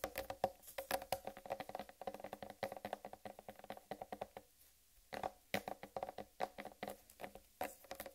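Long red nails tap and scratch the solid rind of a large, whole, uncut watermelon while the hands grip its sides. The result is a quick run of short, dry, hollow knocks with a woody, mid-pitched tone, mixed with faint bright scratches. The tapping pauses briefly about two-thirds of the way through, then resumes.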